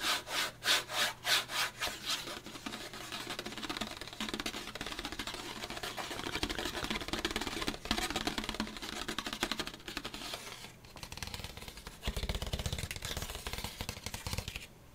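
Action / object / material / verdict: scrape / disposable paper plate / paper / none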